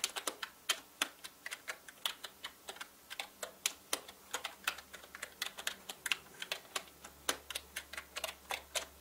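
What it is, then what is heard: Plastic mechanical keyboard being typed on. Fingertips type fast on a full-size black mechanical gaming keyboard with plastic keycaps and a hollow body. Dozens of sharp, bright plastic clicks land in a quick, uneven rhythm. Each one cuts off almost instantly over a quiet background.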